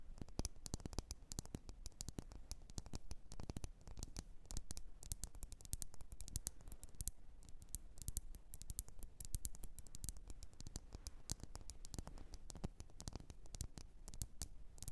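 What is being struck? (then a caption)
Glass candle jar with wax. Long nails tap quickly and steadily on the glass walls of a lit, wax-filled red glass candle jar. The sound is a dense, continuous patter of short, dry, bright clicks over a quiet, low rumble, with each tap dying away almost instantly.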